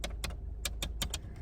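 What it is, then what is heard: Loose rattling plastic door trim. A plastic trim piece in the door of a 2024 Subaru Crosstrek, removed and reinstalled during a speaker replacement, is tapped six times. Each tap gives a short, bright plastic rattle over a steady low hum. The piece is loose and vibrates, the only rattle left after the new speakers went in, and it needs padding or glue to hold it in place.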